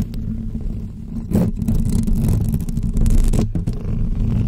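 Long fake press-on nails scratch and tap the hollow woven metal dome grille of a pink microphone, close up. The result is a dense, low rumbling scrape with steady scratchy texture and brief louder bursts of brighter rustle around the middle and near the end.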